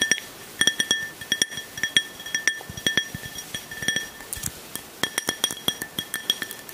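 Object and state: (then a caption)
Glass tumbler. A small, clear, hollow glass drinking tumbler, nearly empty with a little liquid at the bottom, is held in one hand and tapped with fingertips and nails. It gives quick, bright clinks in irregular clusters, each a short ringing tone near 3.3 kHz with higher overtones that dies away almost at once. Soft, duller taps sit between the clinks.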